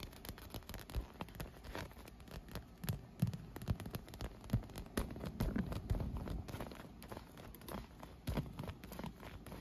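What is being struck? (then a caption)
Inflated PVC vinyl pool float. A leaf-print inflated PVC vinyl pool float with round holes, hollow and air-filled, is tapped and scratched with long nails and fingertips. Rapid, uneven taps and scrapes produce dull, low, hollow thumps with short crackly scratching over them. Each tap dies away almost at once, and the sound stays soft and muffled throughout.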